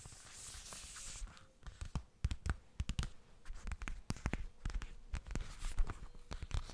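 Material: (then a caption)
Coated fabric. Fingertips and nails tap a hollow yellow zippered cosmetic pouch, apparently made of coated fabric. A soft, bright rustle opens the clip, then a rapid, uneven run of short taps follows, with dull low thumps mixed with sharp nail clicks. Each tap dies away almost at once.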